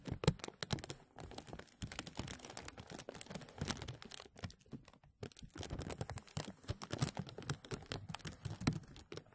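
Hands rub the sides of a thin, translucent plastic bag stretched over a mesh microphone, producing dense, continuous crinkling and crackling. Sharp bright crackles ride over a heavier low rustle, with a brief lull near the middle before the rubbing picks up again.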